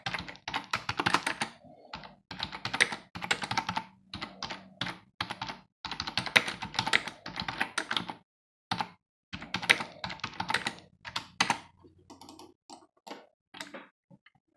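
Fingertips of both hands type continuously on a black plastic computer keyboard with a hollow housing, resting on a desk. The keys make rapid, bright, clattering clicks in dense bursts separated by brief pauses, with very little low end. Toward the end the typing thins out into a few sparse, scattered taps.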